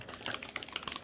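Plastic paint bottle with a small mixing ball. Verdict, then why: Mixed. A plastic bottle of fluorescent pink acrylic paint is shaken, and the small mixing ball inside gives a quick series of light, bright clicking rattles with almost no low end. The rattle shows the paint is mixed and ready to use.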